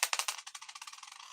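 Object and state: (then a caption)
Zinc penny with a dull ping. A zinc cent coin is tossed onto a cherry wood table as a ping test, giving a quick run of bright, clicky taps that bounce faster and quieter as the coin settles. Its ping is duller than a copper penny's, with a short tinny ring around 1.1 kHz and no low end.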